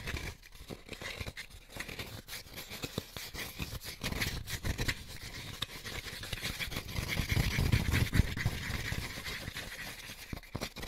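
Fingertips and short nails scratch and rub the ridges and cone-shaped cup tips of an empty white molded paper pulp egg carton piece. A dense, steady stream of quick dry scrapes and papery crackles fills the clip, with bright hissy texture over a soft low rumble. The rubbing grows a little louder and fuller around the middle to later part, with a few sharper scratches standing out.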